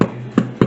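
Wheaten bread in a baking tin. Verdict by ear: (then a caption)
Hollow. The bottom of a baking tin holding baked wheaten bread is struck three times, each hit giving a short, dull, hollow knock. The hollow sound shows the bread is baked through.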